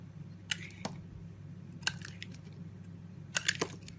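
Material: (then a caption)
Soap. A box cutter blade shaves faceted slices off a solid blue oval bar of soap held in the palm. Several short, bright, crisp cuts and clicks stand out in sparse bursts over a faint low hum, with no talking.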